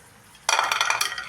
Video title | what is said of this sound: CHANA FRIES RECIPE -- AALOO FRIES BHOOL JAO CHANA FRIES BNALO--Damaka Recipe | यह देख आवाज से पता चल रहा है इतनी कुरकुरी हो गए हैं